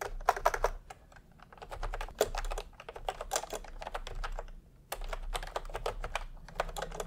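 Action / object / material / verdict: tap / plastic computer keyboard with round keycaps / plastic / none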